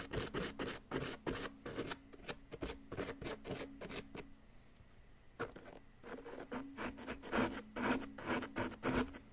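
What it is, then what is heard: Plaster block being scraped. A flat wooden stick scrapes the solid yellow plaster of an excavation block next to the embedded bar, making quick, uneven rasping strokes with a bright, gritty edge. The scraping pauses into near silence for about a second midway, then resumes with louder strokes.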